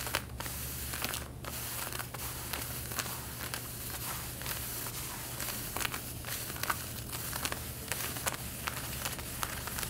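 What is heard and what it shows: Long red-painted nails scratch the front waistband of light blue denim jeans while they are being worn, making a continuous, crisp scratching and rustling texture. Sharper strokes stand out now and then against a steady low hum underneath.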